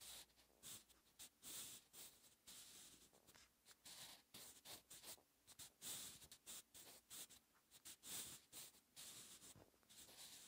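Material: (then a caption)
Paper. A sharpened wooden pencil's graphite tip writes Korean cursive on a lined paper notebook page lying flat and solid on a surface. It makes quiet, bright scratching strokes in short bursts with brief pauses between them.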